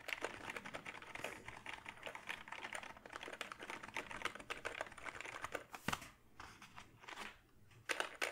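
Fingertips type on the keys of a backlit gaming keyboard made of hollow plastic, held close. A rapid stream of short, bright plastic clicks and clacks continues throughout, with a brief pause near the six-second mark before typing resumes.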